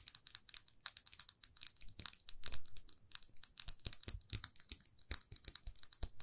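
Long nails tap rapidly on a small, glossy red plastic lipstick tube, producing around forty quick, dry, bright clicks with a soft low thump under some of them. Each tap dies away almost instantly, giving a fast, crisp, uneven tapping rhythm.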